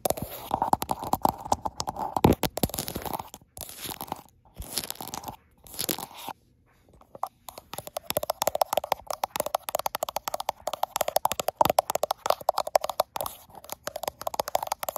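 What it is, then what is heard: Glass-backed smartphone. Long black-tipped nails tap and scratch the frosted glass back of a handheld gold iPhone, which is also doing the recording. Rapid, crisp, crunchy clicks come in dense bursts with a mid-toned ring, broken by short silent gaps in the first seven seconds. After a longer pause around six to seven seconds, the tapping resumes steadily to the end.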